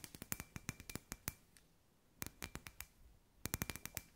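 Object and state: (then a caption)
Glass ball lamp tapped with nails. Long white nails tap a hand-sized, hollow, clear glass sphere lamp with fairy lights inside, giving about 22 quick, bright clicks in three bursts. Each tap is sharp and dies almost at once, leaving a faint, thin glassy ring under the taps.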